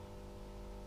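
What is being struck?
Nothing is struck.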